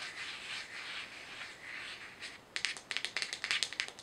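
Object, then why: Small plastic jar with screw lid. A small, hollow white plastic jar with a screw lid is turned in the hands, tapped and scratched with long nails, and its lid handled. Soft, bright scratching and rubbing fill the first half. Then come sharp, quick, irregular clicking taps with almost no ring.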